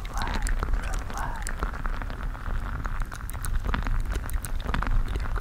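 A clear-skinned mesh squishy stress ball full of colorful water gel beads is squeezed with the fingers right against the microphone. It makes a continuous low, rumbling squish full of wet crackles, with bright little pops and clicks scattered throughout.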